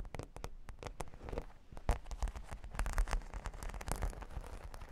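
Long pink fingernails scratch and tap across plastic half-pearl stickers studding a flat, solid cork board. The result is a dense, irregular run of short, dry clicks and crackly scratches with a deep, thumpy low end, and each tap dies away almost instantly.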